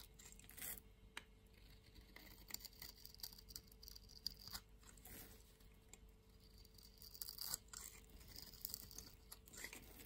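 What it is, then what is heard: Soap bar scraped with a blade. A utility knife blade scrapes a fresh, solid green-and-white striped soap bar held in the palm, raising green shavings. Quiet, bright rasping and crisp scratchy strokes come and go in a steady run over a faint low hum, each scrape cutting off abruptly with no ring.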